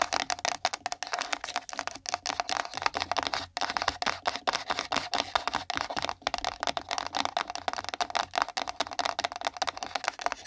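Long nail tips tap fast on a small, empty, hollow pink printed cardboard gift box resting on the microphone. The result is a dense, continuous stream of short, dry, clicky taps with a hollow mid-range tone and bright high edges, each tap dying away almost instantly.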